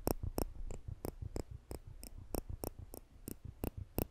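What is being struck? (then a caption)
Steel tweezers. A pair of polished stainless steel tweezers with slanted tips is held in the fingertips just above a microphone, and the arms are pinched to click the metal tips together. Thirteen sharp, bright metallic clicks come at an uneven pace over a low, rumbling background, each dying away almost instantly.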